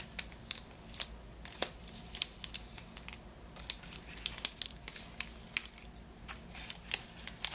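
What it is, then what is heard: Cellophane-wrapped package. Fingers and nails tap and scratch the green cellophane wrapping of a lemon-shaped Positano lemon package resting on a table. A steady series of short, sharp, bright crinkles and clicks rises over a quiet background, each one dying away almost instantly.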